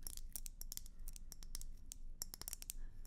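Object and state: Glass hummingbird feeder tapped with fingernails.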